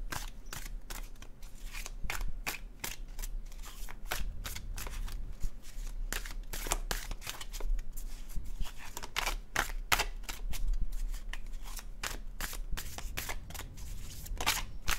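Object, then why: Paper cardstock card deck. A dark blue cardstock tarot deck is shuffled in the hand by fingertips, giving a steady run of quick, dry flicks and papery slides from the cards. The snaps are bright and very short, with a low steady hum underneath throughout.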